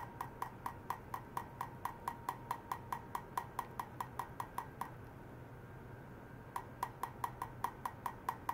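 A stainless steel wire is struck repeatedly to check how ultrasonic vibration travels along it, producing 32 sharp, short metallic taps with a bright ring around 940 Hz. The taps come at a steady pace of about 140 per minute and stop briefly for nearly two seconds before resuming.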